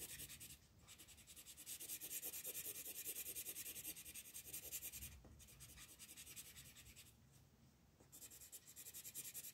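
An orange colored pencil is rubbed in broad, fast strokes across a flat paper coloring book page to fill in a moon. It makes a steady, bright, scratchy hiss at about three strokes per second, with brief pauses where the strokes stop.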